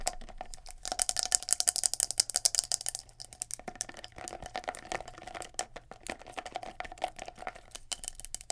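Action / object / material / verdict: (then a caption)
tap / plastic scalp massager with silicone bristles / plastic / none. Long nails rapidly tap and scratch the hard plastic top and soft silicone bristles of a palm-sized, round, black plastic scalp massager with a knob handle. Quick, irregular, bright clicks and dry scratching rattle along, loudest and densest in the first few seconds, then settle into softer, scattered taps.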